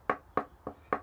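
A chunk of plywood offcut is tapped four times in a mock tap-tuning test. Each tap gives a short, dry knock with a midrange tone around 1.1 kHz that dies away almost at once. The sound is offered sarcastically as "sounding great," doubting that tapping wood reveals much.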